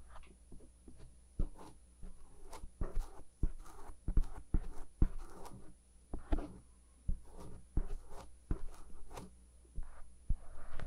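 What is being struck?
Silicone ear of a binaural microphone, scraped with a bamboo ear pick.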